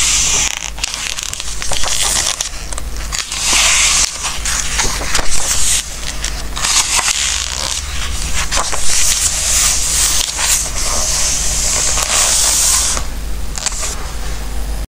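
Fingertips rub and slide over the glossy paper pages of a large open Christmas book lying on a wooden table, then turn the pages. The pages give off soft, crinkly rustles and crackles with bright, hissy swells as they slide and flip, over a steady low hum.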